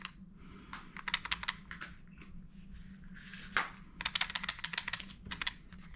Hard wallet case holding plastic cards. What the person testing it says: if you shake it a little bit, you can hear a little bit of sound. So we could probably fit 1 more card in